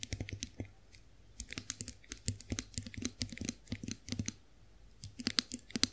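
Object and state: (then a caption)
Chrome face roller tapped with nails. Long nails tap on the smooth handle of a chrome-finished face roller, producing quick bursts of crisp, bright clicks. The clicks come in uneven flurries with short pauses and fade almost instantly, each carrying a faint low knock beneath the sharp top.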